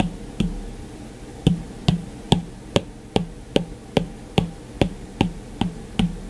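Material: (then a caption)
Glass. The hard plastic tip of an Apple Pencil taps repeatedly on the dark glass screen of a white iPad that is switched off. Thirteen short, crisp taps each combine a dull low knock with a brief bright tick and die away almost instantly. After the first tap comes a longer pause, then the taps fall into a fairly steady rhythm of about two to three per second.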